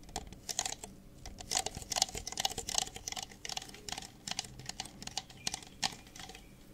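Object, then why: Thin plastic cup. Fingertips tap quickly on the bases of two identical empty red plastic party cups held upside down. The result is a rapid, uneven patter of dry, bright clicks with no ring, in bursts that rise and fall across the clip.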